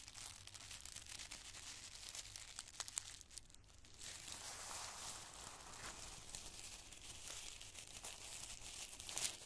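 Loose handfuls of small, thin, colored tissue paper squares are gripped and crinkled in the fingers and palms of both hands. The result is a steady, dense, bright crinkling with sharp crackles and tearing-like rustles, with a brief quieter lull partway through before it picks back up.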